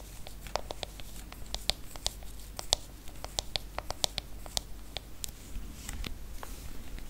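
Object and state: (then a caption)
Aluminium smartphone back tapped with nails. Long fingernails tap and scratch across the aluminium back of a silver iPhone. The result is a quick, irregular series of short, bright clicks that die away almost instantly, with soft scratching between them over a faint low hum.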